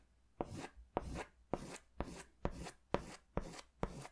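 An orange wax crayon or oil pastel is rubbed and scratched in quick strokes across a large white paper sketch pad held upright, its thin sheets on a firm backing. Eight strokes are heard, each opening with a sharp scratchy attack and trailing into a short, bright, papery rasp.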